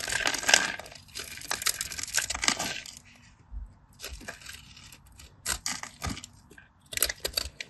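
A solid cream bar of soap covered in diced cubes is held in the hand and cut with a craft knife, so the cubes crumble off. Bright, crisp crunching and crackling fills the first three seconds, then gives way to scattered short, dry ticks and crumbles with quiet gaps between them.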